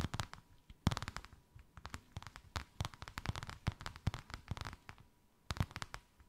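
Long white acrylic nails tap and scratch a thin white faux-leather sheet with a snakeskin emboss, draped over something rounded. The result is a quick, irregular stream of short, dry clicks and scratchy taps with a dull low thump under them, some in tight bursts and a few louder than the rest.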